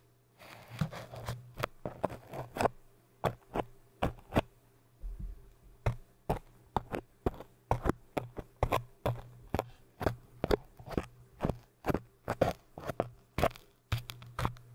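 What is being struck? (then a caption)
Hard foam cylinder tapped with thin metal tools. A tall orange hard foam cylinder is tapped and scratched with thin metal needles and crochet tools, giving about forty short, dry, quiet taps with scratchy rustling in between. The taps stop almost instantly, and a steady low hum runs underneath throughout.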